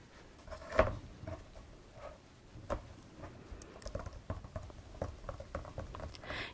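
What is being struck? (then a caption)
Vinyl-covered ring binder. Fingertips and nails tap and drum on the vinyl cover of a large, closed D-ring binder with a paper insert, lying flat on a red cloth. The soft, dull taps carry a low thump and a hollow mid-range knock, and each dies away almost at once. A few spaced taps, the loudest early on, give way to quicker, lighter patter and a brief bright brush at the end.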